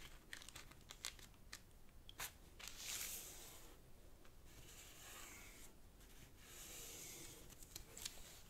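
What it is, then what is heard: Thin origami paper being rubbed. Fingertips slide along a thin, folded purple origami paper sheet resting on a black cloth table and rub its creases. The result is quiet, bright paper rustling and crinkling, with sharp little crackles and a few longer hissy swishes as the fingers glide.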